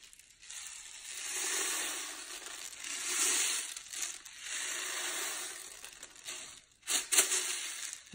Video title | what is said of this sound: April 21, 2020 | You can hear the rain. If you shake it, it makes really loud rain.